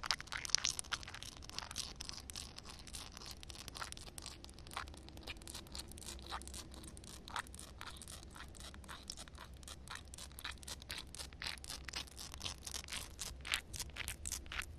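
Long red nails tap and scratch on a flat, wet concrete ground with a puddle, making a steady stream of quick, crisp, bright clicks and gritty scrapes. The sound is dry and short with almost no ring, over a faint low hum.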